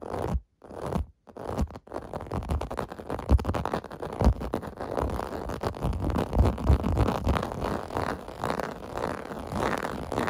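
Fingernails scratch rapidly over the raised bubbles of a clear-blue plastic bath mat. The result is a dense, rasping, zipper-like scratching with a low, muffled body, broken by a few brief pauses near the start before running continuously.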